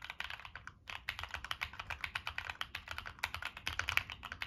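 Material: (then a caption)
Plastic. Fingertips type steadily on a Monsgeek M1 mechanical keyboard with NK Cream switches, purple and black plastic keycaps, and a dark metal case. A rapid run of crisp, bright clacks comes with little low thump and almost no ring. A brief pause falls just before the one-second mark.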